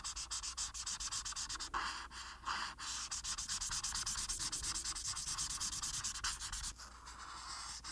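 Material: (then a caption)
Paper. A felt marker tip fills in a flat paper coloring sheet on a table with blue, making quick, repeated rubbing and scratching strokes across the paper. The strokes form a steady, bright, papery rasp with brief pauses around two and seven seconds, over a faint low hum.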